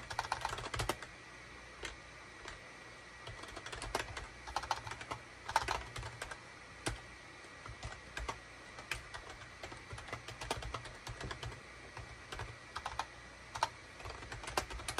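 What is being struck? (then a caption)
Plastic computer keyboard. A SHIPADOO K600 full-size wired USB keyboard, with a hollow gray plastic case and cream, gray and orange plastic keycaps, sits on a desk mat and is typed on rapidly with the fingertips of both hands. Quick, dry plastic clicks and clacks come in irregular bursts with brief pauses, each press short with almost no ring. A low steady hum sits underneath.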